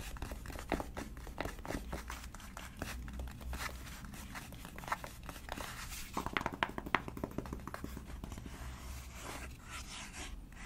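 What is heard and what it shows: Long dark nails tap rapidly on the front face of a flat, rectangular, hollow black cardboard eyeshadow palette case printed with gold lettering, held in both hands. The taps are quick, dry clicks with almost no ring, mixed with crinkly, scraping rustles over a steady low hum. A denser burst of sharper taps comes around the middle before the tapping settles back to a softer patter.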